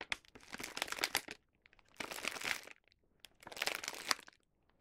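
A small white paper gift bag with a colorful star print, filled with snacks, is held in both hands while its top is folded shut and sealed with a round sticker. Fingertips and nails rub and crinkle the paper in three bursts of bright, dry crackling separated by short pauses.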